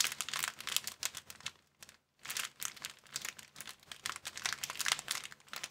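An empty, hand-sized clear plastic bag of thin transparent film is held and crumpled between fingertips and palms. It gives dense, bright crinkling and crackling in quick bursts. The sound drops to near silence for a moment before resuming.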